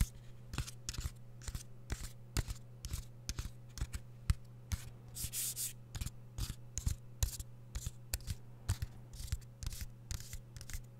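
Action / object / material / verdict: tap / plastic DVD keep case / plastic / none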